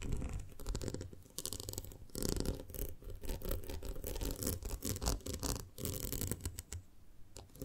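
Long nails scratch and tap along the horizontal ridges on the sides of a small, round, ribbed clear glass jar full of honey. The result is a steady run of dense, low-heavy rasping strokes and soft dull taps, with brief bursts of brighter, hissy scraping between them.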